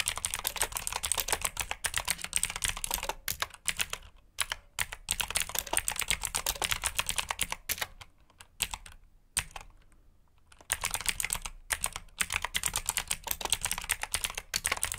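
Fingertips type on a black backlit mechanical keyboard with plastic keycaps, producing dense runs of bright, sharp clicks. The typing pauses briefly around the middle, then resumes.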